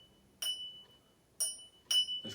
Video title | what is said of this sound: Reselling on eBay UK: Car boot sale haul 11/07/20. £69 spent, estimated sales value £600 | you can hear there's quite a distinct ring